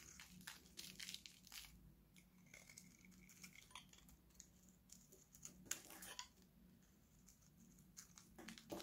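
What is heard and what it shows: An oval green Nivea bar of solid, dry soap is held in one hand and shaved with a steel utility knife blade, piling up dry shavings. The result is a quiet series of crisp, crinkly scraping and cutting bursts, bright and dry with almost no ring, over a faint low hum.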